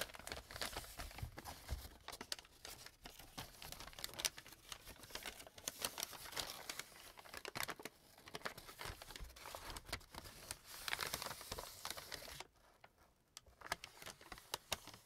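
An opened, empty brown kraft paper bag is squeezed and crumpled by hands at its opening. It gives dense, bright crinkling with sharp crackles that runs steadily for about twelve seconds. The sound then drops to a quiet lull before a few faint crinkles return at the end.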